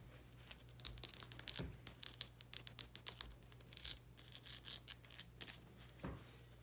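Long pink nails tap and scratch a small frosted glass perfume bottle with a metal collar, round cap and pink label, partly filled with liquid, first held in the hand and then laid on a blue towel. Quick, bright clicks and ticks come in uneven bursts, with short rasping scratches between them and a faint steady low hum underneath.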